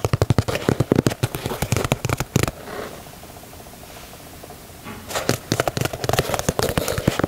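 Fingertips and nails tap and scratch the heel and side leather panels of a black and white leather Nike Dunk sneaker. Quick bursts of short, dull taps with crisp clicking edges fill the first two and a half seconds, then give way to a soft, quiet scratching hiss. Around the five-second mark the rapid tapping returns and carries on to the end.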